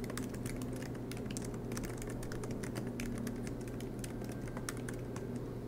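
Both hands type continuously with their fingertips on a silver MacBook Pro laptop, tapping its low-profile black plastic keys set in an aluminium body, resting on a desk mat. A steady stream of soft, quick clicks and taps runs throughout at an even level, with brighter key snaps over a constant low hum.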